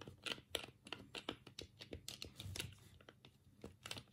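Thumbs press and click the D-pad and A/B/C buttons of a black, hollow plastic Sega Mega Drive 3-button controller held in both hands over a cutting mat. About seventeen sharp, bright plastic clicks and taps come in an uneven rapid series, each dying away almost instantly.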